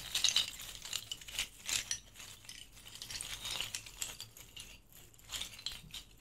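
A bundle of thin, hollow rattan reed diffuser sticks is cupped in both hands and rolled, rubbed and shaken with the fingertips. This makes a dry, bright rattling clatter of quick, overlapping clicks that swells and fades in short bursts, with almost no low end.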